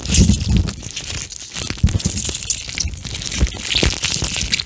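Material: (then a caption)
Plastic, gel. A pink plastic eye mask filled with gel beads is squished and bent between both hands right over the mic, with fingertips pressing into the beads. It makes a dense, continuous crinkly crackle and squish, with soft low thumps underneath and a bright, hissy top layer that swells and fades as the mask is worked.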